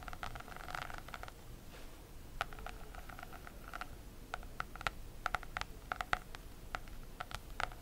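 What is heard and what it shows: Long nails scratch the embossed, textured holographic plastic cover of an A5 notebook in a rapid patter. The result is a quiet series of crisp, short scratches and ticks with a bright, mid-high ring around 1.4 kHz over a soft, rustly background.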